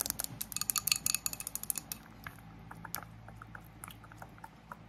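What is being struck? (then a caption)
Thick glass candle jar filled with wax. A small, thick glass candle jar with a floral print, filled with solid wax, is tapped and clinked on its sides and base with long acrylic nails. The bright, clicky taps come fast and close together at first, then thin out into softer, scattered taps. A fan hums steadily underneath.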